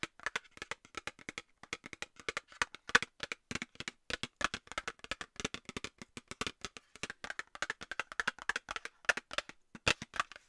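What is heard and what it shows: A small, hollow, rectangular Nivea cosmetics cardboard box is held up and tapped and scratched with long nails. Dozens of quick, dry, hollow taps come in an uneven rhythm, each dying away almost instantly, with a papery, bright tone centered around 1.5 kHz and very little low end.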